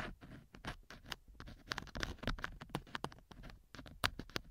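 A thin wooden or bamboo earpick scratches and rubs inside a small solid silicone model ear mounted on the left side of a binaural microphone. It makes a rapid, uneven series of short, dry scratches and soft patters, with crisp bright clicks over a faint low rumble. Each stroke stops almost at once, with no ring.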